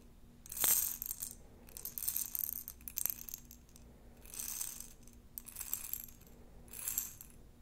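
A glass jar of plastic beads is shaken and handled in several bursts, giving a bright, high rattling and clinking as the beads tumble against the glass. A sharp clink stands out near the start, and a faint steady low hum sits underneath throughout.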